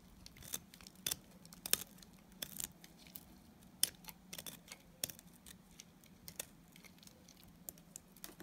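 A utility knife blade shaves and scrapes the edge of a small, solid white bar of dry Timotei soap held in the fingers. It makes quiet, irregular, crisp scraping clicks that are bright and short, over a faint steady low hum.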